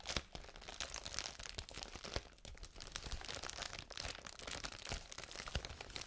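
A large sheet of clear plastic bubble wrap is held up to the microphone and scratched and rubbed with fingertips and nails. The result is a steady, bright crinkling and crunching with many sharp little crackles over a low rumble.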